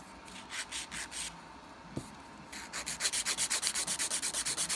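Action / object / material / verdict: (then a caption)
scrape / nail file rubbed on an acrylic nail / acrylic / none. A dark grit nail file (emery board) is rubbed back and forth across the solid surface of a long coffin-shape acrylic nail with a peach ombré finish on a hand, raising filing dust. It makes 21 bright, raspy sanding strokes: a few slower strokes, a brief pause with a single soft thump, then a faster, steady run of strokes to the end.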